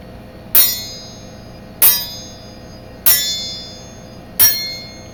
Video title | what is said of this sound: Bark River Rogue Bowie | all these, they ring beautifully